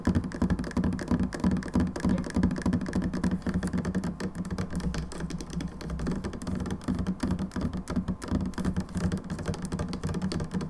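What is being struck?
Plastic hand soap bottle.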